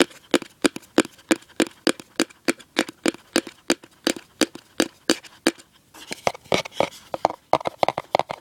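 Fingertips and nails tap and scratch the inner bottom of an open, empty cardboard gift box with a white interior. Dry, hollow taps come at a steady pace for about six seconds, then give way to quicker, scratchier strokes, 37 short hits in all, each dying away almost at once. The sound is mid-pitched with a little bright edge and almost no low end.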